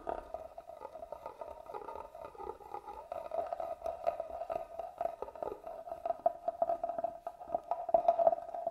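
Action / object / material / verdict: scrape / hollow carved wooden box / wood / none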